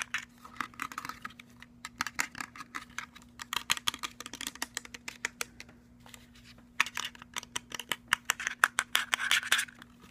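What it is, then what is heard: Plastic portable speaker with metal grille. Fingertips and nails quickly tap and scratch a hand-sized, hollow, cylindrical JBL-style portable Bluetooth speaker with a plastic body, plastic end caps and a black perforated metal grille. Dense bursts of sharp, dry, bright clicks and scrapes come with brief pauses near 2 seconds and 6 seconds, over a faint, steady low hum. Each tap dies away almost instantly with no ringing.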